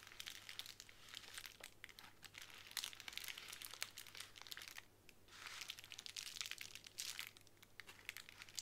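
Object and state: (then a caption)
Plastic bubble wrap sheet. Long nails tap and scratch across a small clear plastic bubble wrap square resting on a wooden table. They make a quiet, dense stream of bright, crinkly clicks and rasps with a brief lull around the middle.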